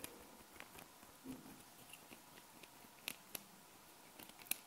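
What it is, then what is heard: Small metal magnet balls. Hands hold a flat hexagonal sheet of small solid metal magnet balls while fingertips and long nails press, fold and scratch across the balls. Quiet, soft scratching and rustling is broken by a few sharp, bright clicks and ticks at irregular moments.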